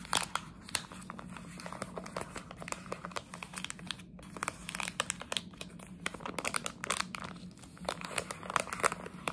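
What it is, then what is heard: Plastic bag crinkled and scratched. A plastic jelly bean bag, held upright, is scratched and crinkled with long nails. It makes a dense run of sharp, bright crackles and scratchy clicks over a faint steady low hum, with a short quiet gap near the middle.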